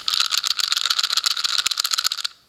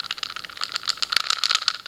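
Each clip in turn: First: A dense, high plastic rattle of many tiny clicks, the sound of a loose cube with play between its pieces. Second: Light, fast plastic clicking as a puzzle cube is shaken; only a faint rattle, showing its pieces are held tight.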